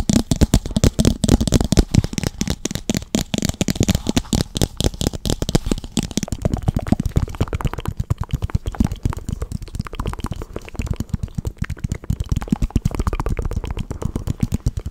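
Fingertips rapidly tap and scratch the sides and rim of a small, hollow, empty, translucent pink plastic cup held close to the microphone. The result is a dense stream of short, dry, crackly taps with a deep, boomy low-end thump and almost no ring. The tapping is loudest in the first six seconds, then continues slightly softer.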